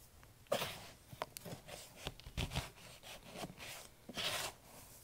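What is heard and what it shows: Bare fingertips squeeze, crumble and rub a container of crumbled green floral foam mixed with white carpet cleaner paste. Irregular bursts of bright, dry crunching and crackling rise over a soft, gritty rustle, each fading quickly.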